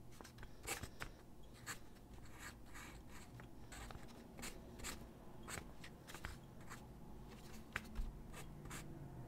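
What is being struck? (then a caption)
Graphite pencil on paper sheet. A graphite pencil held in the hand sketches figure drawings on a large white sheet of drawing paper lying flat on a wooden desk. Short, quick scratching strokes repeat throughout, each a brief bright rasp over a quiet, low background hum.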